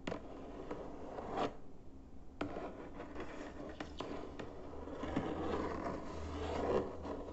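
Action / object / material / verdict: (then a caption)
tap / closed cardboard box / cardboard / none. Fingertips and short nails tap across the top surface of a closed, hollow white cardboard box with printed text on the lid, lying flat. Soft, dull taps mix with scratchy, scraping contact over a steady low rustle, with a brief quieter pause near the two-second mark. The taps are short and quickly damped.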